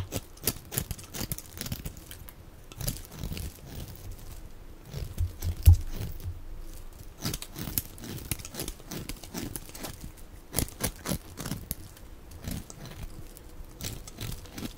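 A steel utility-knife blade scrapes and carves thin shavings off the end of a solid, dry white bar of soap held in one hand, with flakes falling onto a pile. The sound is a dense run of short, crisp scraping and crunching strokes with a soft low body and bright clicks on the sharper cuts.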